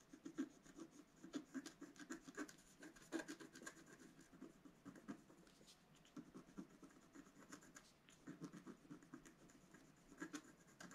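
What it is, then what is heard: Scratch art card being scratched. A wooden stylus scratches the black coating off a flat, solid scratch art card, about A4 in size with coloured foil paper underneath, lying on a table. Quiet, dry scratching strokes come one after another, with a mid-low rasp and a thin bright hiss. A few sharper, louder strokes stand out near the start, around three seconds in, and near the end.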